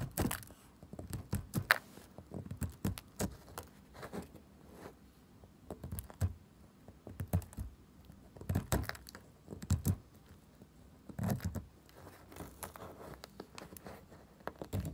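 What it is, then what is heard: Bar soap being scraped. A pale pink bar of soap is picked and scratched with a pointed metal tool, flaking off chips. The result is a quiet series of soft, dry ticks and crumbly scrapes with low, dull thuds and brief bright clicks, spread irregularly across the clip.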